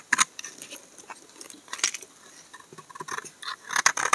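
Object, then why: Bar of laundry soap shaved with a knife blade. A solid brown laundry soap bar is shaved with a utility knife blade, peeling thin sheets off its surface. Short, crisp, bright scraping strokes come in irregular bursts with quiet pauses between them, and each stroke dies away almost at once with no low rumble.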